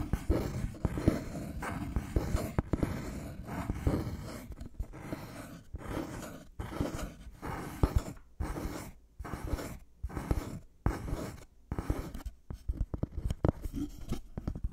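Fingernails scratch and tap a thin, solid, light-colored wooden board held close in front of the mic. Dense, low-heavy scratching fills the first few seconds, then breaks into short, rhythmic strokes separated by brief pauses. Sharp, dry taps with almost no ring are scattered throughout.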